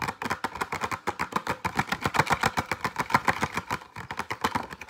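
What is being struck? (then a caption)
Plastic blister pack with cardboard backing. Fingernails tap and scratch fast and hard on a retail pack of six pencils, a flat, light clear plastic blister with cardboard backing. The result is a rapid, uneven run of dry, clicky plastic ticks with short decays and a papery scratch between them, centered in the mid range around 1 kHz with a bright edge.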